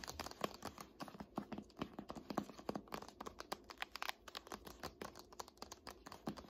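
Long nails tap rapidly on the dark laminated spine of a thick "Art History" hardcover textbook standing on end. The result is a quiet, fast, uneven patter of short, dry clicks with no ringing.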